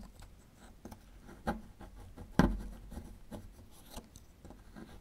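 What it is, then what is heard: Plaster excavation block being scraped. A small metal chisel scrapes and chips at a small, solid plaster fossil excavation block, making steady, dry scratching and rasping. Two sharper chips stand out against the quieter scraping, each dying away almost at once.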